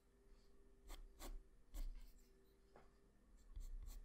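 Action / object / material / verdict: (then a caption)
scrape / graphite pencil on a sheet of drawing paper / paper / none. A graphite pencil scratches line strokes on a flat sheet of white drawing paper, drawing the neck and chin. Soft, dry scratching strokes come in short, bright bursts over a quiet, low background hum.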